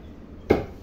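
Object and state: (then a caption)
Hard adobe soil. During a septic tank excavation, the dug ground of hard adobe soil is struck once. It gives a single dull, solid thud centered in the low mids with a very short ring. The sound marks the ground as really hard adobe rock, unlike soft adobe.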